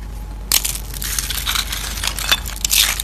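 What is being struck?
Dried soap curls.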